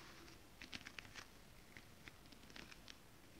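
Long acrylic nails tap and scratch with both hands on a flat sheet of holographic mermaid scale-printed fabric. About ten quiet, sharp, bright ticks stand out over a soft, continuous scratchy rustle, each dying away almost instantly.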